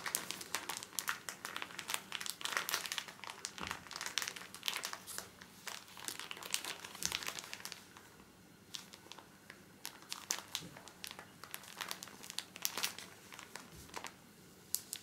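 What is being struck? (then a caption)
Pocket tissue pack in soft plastic film. A full pocket pack of paper tissues in a small, soft plastic-film wrapper is squeezed and rubbed with the fingertips. The film crinkles in dense bursts of bright, crackly rustling for about the first eight seconds. After that it becomes quieter and sparser, with occasional sharp crinkles.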